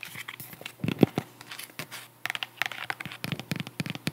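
Long acrylic nails tap and scratch the solid cork-covered wedge heel of a white strap sandal held up in the hands. It makes a quick run of dry, crackly clicks and scrapes with a few duller low thumps near the start. The taps stop briefly about halfway, then resume in a dense, brighter patter.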